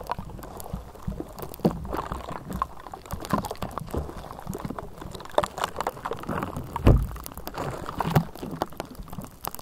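Long nails of both hands scratch the bare, hollow metal mesh grille of a Blue Yeti microphone throughout, producing dense, crackling rasps with a heavy low rumble. Sharper scrapes and taps stand out from the steady scratching, the loudest near the seven-second mark.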